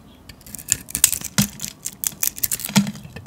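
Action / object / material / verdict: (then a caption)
scrape / painted soap bar shaved with a metal blade / soap / none. A metal blade shaves the embossed, glittery grey painted shell off a solid white soap bar held in the hand. It makes a quick, irregular series of short, crisp scraping and crackling strokes with a bright, high hiss and a little low thud on some cuts. Each stroke stops dead with no ring.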